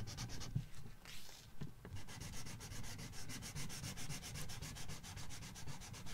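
A red felt-tip marker is rubbed back and forth across a paper coloring book page, making a dry, scratchy hiss. After a brief irregular start, it settles into fast, fairly steady rubbing strokes. Each stroke has a bright, papery edge over a soft low rumble.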